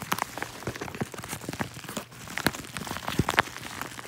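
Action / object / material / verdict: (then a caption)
scrape / padded kraft-paper mailer envelope / paper / none. A yellow kraft-paper padded mailer, hollow with contents inside, is held in both hands while fingertips squeeze and crinkle it. The result is a dense, steady stream of dry crinkles and quick crackling snaps, with a few sharper, brighter pops standing out near the end.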